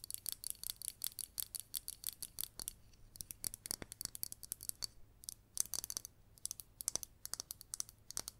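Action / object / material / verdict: tap / glazed ceramic planter / ceramic / none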